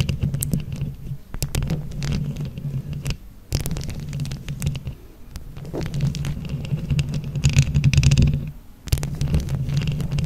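Long nails scratch a microphone grille covered in plastic flower rhinestones from both sides. Dense, low rumbling scrapes mix with sharp bright clicks, with brief near-silent pauses around 3.5 and 8.7 seconds.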